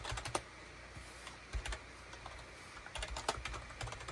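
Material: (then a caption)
Plastic. Fingertips type rapidly on a full-size gray and cream SHIPADOO K600 wired USB keyboard, with a hollow plastic case and plastic keycaps, resting on a desk mat. Short, dry plastic clicks come in quick clusters with a few louder strikes and a faint low rumble underneath. Each click stops almost at once, leaving a hollow, clattery patter.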